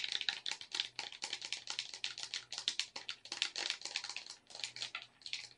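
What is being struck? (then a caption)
Plastic game controller. Long red nails click the buttons and tap the shell of a black plastic gamepad up close. It makes a rapid, uneven run of short, bright plastic clicks and taps with no ring after each. A faint low hum sits underneath.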